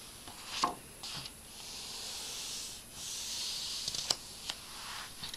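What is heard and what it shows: A page of an open illustrated storybook with thin paper pages, lying flat, is flipped with a crisp papery swish. An open hand then presses and rubs over the pages with palm and fingertips, making a soft, bright, hissing rustle. A few sharp paper crackles stand out near the end.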